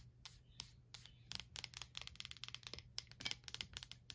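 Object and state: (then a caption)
Glass candle jar. Long black nails tap and scratch the glass side of a small lit candle jar filled with wax, with a paper label, standing on a white stand. Quiet, bright, sharp clicks come in a quickening string, with faint scratchy rasps between them, over a steady low hum. Each tap dies almost instantly with no ring.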